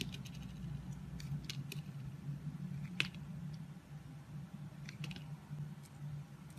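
A solid orange oval soap bar with embossed text, held in the hand, is shaved into curls with a utility knife blade. Short, crisp scraping strokes give bright, dry rasps over a steady low hum, and the sharpest stroke lands near the middle.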